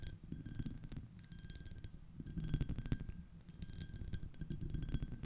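Long nails tap and scratch the rim and ridged surface of a small, clear, iridescent, shell-shaped empty glass dish. Quick bright clicks and short glassy ticks with faint high ringing tones sit over a steady low scratching rustle, in dense, uneven bursts throughout.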